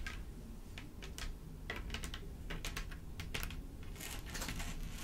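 Long pointed nails from both hands tap and scratch across a flat black mat covered in clear plastic rhinestones, with a raised cluster of larger studs in the center. The result is a quick, irregular run of bright, clicky ticks and scraping sounds, much like typing, over a steady low hum.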